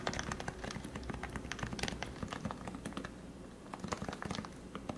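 Fingertips press and tap the plastic keycaps of a lubed Leopold FC660C Topre keyboard with 45g switches, heard close up. A steady stream of soft, muted thocks and light clacks with short, quick-fading strikes and brief bright ticks.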